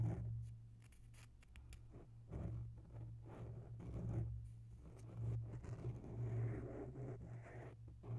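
Long natural nails slowly scratch both sides of a grey oval foam microphone windscreen. The result is soft, muffled rustling and scraping that swells and fades over a steady low hum.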